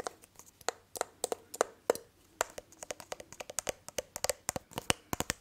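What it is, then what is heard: Small glass perfume bottle. A small hollow glass perfume bottle with a cap is held in hands near the microphone while fingertips and nails tap and handle it. About thirty quick, bright clicks and taps, some carrying a short glassy ring near 500 Hz, sound in an uneven rhythm over faint handling rustle, each dying away almost at once.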